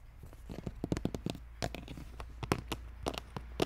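Fingertips and nails scratch and rub across the ridges of a textured green plastic brain lid on a large, hollow red plastic skull container. The result is a quick series of short, dry scratching strokes over a steady low hum.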